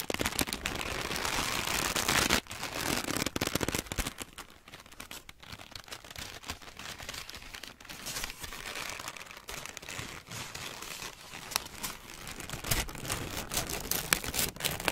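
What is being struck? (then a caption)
Large paper sheet. A large, crumpled white paper sheet is held in both hands and squeezed and crinkled with the fingers and long nails. A loud, dense, bright crinkling fills the first couple of seconds, then settles into quieter, irregular crackles with occasional sharper snaps.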